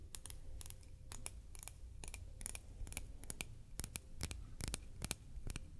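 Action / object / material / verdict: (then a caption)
tap / large shell buttons / shell / none. Large buttons made of shell are traced, tapped and scratched with fingernails. The result is a rapid series of sharp, dry clicks and scratchy ticks with almost no ring, over a low, soft background rumble.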